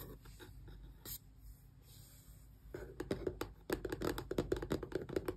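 Long press-on nails scratch and tap the glossy printed front of a small, closed, hollow cardboard Xbox controller box. Soft, quiet scratching comes first, then a run of quick, uneven taps with a dull, hollow cardboard knock and brief bright clicks that die away at once.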